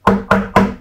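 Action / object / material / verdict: knock / plastic RC car body shell / plastic / sturdy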